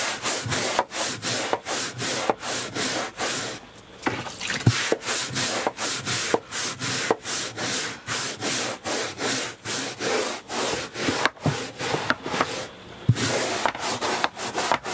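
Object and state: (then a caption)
Carpet runner being scrubbed. A hand-held scrubbing brush is scrubbed back and forth across a beige woven carpet runner lying on a motorhome floor. Each stroke makes a bright, scratchy, hissing rasp, repeating in a steady rhythm with short breaks around 4 and 13 seconds.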